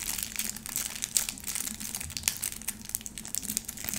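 Long nails scratch and crinkle the pleated white plastic wrap around a small, solid, round bar of soap. The result is a steady, bright crinkling texture dotted with quick, sharp ticks, with very little low end and no ring after each scrape.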